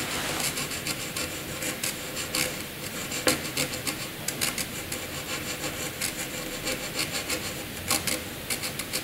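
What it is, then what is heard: Pencil scratching on paper. A graphite pencil held in the fingers cross-hatches a dense patch on a sheet of white paper with a scratching action. A steady dry, bright rasp runs throughout, punctuated by short, sharper scratchy stroke bursts with little low end.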